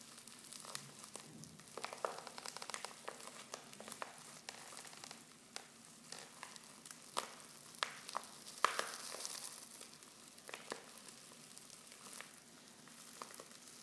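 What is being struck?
Foil tea pouch with loose tea leaves.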